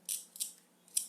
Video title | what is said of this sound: Observation Practice for young scientists | if I run my fingers near it, I can make a noise on its shell there